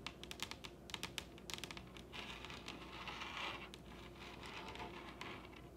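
Long red-painted nails on both hands tap rapidly on the top of a large solid wooden dining table. Sharp, bright clicks with very short decay come in quick bursts for about two seconds, then blur into a denser, softer rattle of fast tapping at a quiet level.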